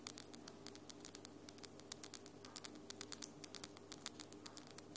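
Long lilac glitter acrylic nails tap and click against each other in a quick, irregular series of short, sharp, bright clicks. The clicks sit over a faint, steady low hum.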